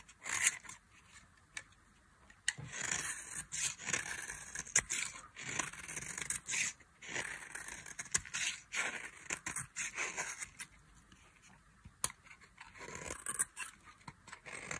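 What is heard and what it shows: A metal knife scrapes and cuts thin flakes off the end of a solid, palm-sized bar of dry cream-colored soap held in the hand. Bright, crackly scraping strokes come in uneven bursts with short quiet gaps between them. The sound is mostly high with almost no low end.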